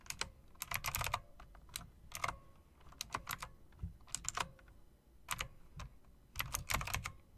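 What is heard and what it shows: Fingertips with long dark nails type on an RGB plastic and metal typewriter-style mechanical keyboard with round plastic keycaps in metal-look rims. Bright, sharp clicks come in quick irregular bursts with short pauses between them, each with a soft low thud and almost no ring.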